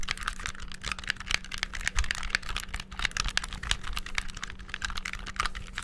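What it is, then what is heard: Plastic game controller, button presses. Fingertips rapidly mash the buttons and triggers of a hollow, black handheld plastic game controller. The result is a dense, fast stream of bright plastic clicks and taps, with a faint steady low hum underneath.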